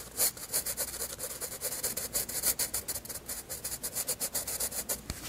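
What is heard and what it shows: A graphite pencil shades across a flat white page of a spiral sketchbook with rapid, repeated rubbing strokes. Each stroke gives a short, bright, scratchy hiss with a soft papery undertone, and the strokes run back and forth steadily throughout.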